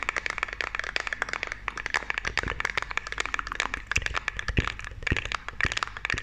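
A small, round, hollow white plastic makeup compact is held close and rapidly tapped and scratched with long, dark-painted nails. The result is a dense stream of sharp, bright clicks and scratchy crackles with almost no ring, broken by a few deeper, hollow knocks.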